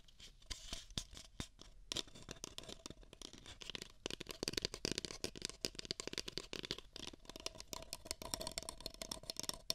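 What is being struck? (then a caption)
Paper cup. Long nails scratch two identical empty beige paper cups, hollow and held against the microphone ears. The result is a dense, quiet stream of dry, rapid rasping strokes, bright and papery with a slight crinkle, that grows busier and louder after the first couple of seconds.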